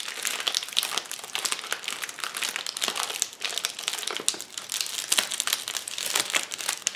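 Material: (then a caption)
Plastic. Knuckles and fingertips press, pop and scratch the bubbles of a flat, clear plastic bubble wrap sheet lying on a table. The result is a steady, dense stream of bright, crisp crinkling and crackling, broken by sharper snapping pops. There is almost no low end.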